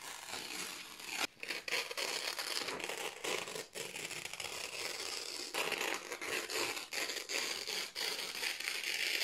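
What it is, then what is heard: Printed paper sheets being torn. Several thin white printed office paper sheets are held in both hands while fingertips with long nails slowly tear them. The result is a steady, bright, crackling rip with fine crinkles, broken by a few brief pauses, with almost no low end.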